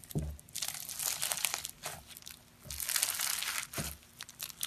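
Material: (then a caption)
Slime, foam beads. A palm-sized ball of purple slime packed with small polystyrene foam beads and topped with glitter is pressed with thumbs, then stretched and kneaded by bare fingers on a grey surface. Bright, dense crackling and crunching comes in bursts, with a few soft low thumps as the solid, pliable mass is squeezed and pulled.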